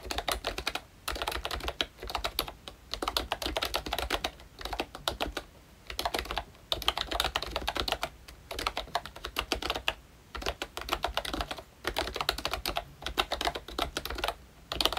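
Fingertips of both hands type steadily on a full-size, Mickey Mouse–themed retro membrane keyboard with round plastic keycaps. Many rapid, short, bright clicks and taps come in bursts, separated by brief pauses.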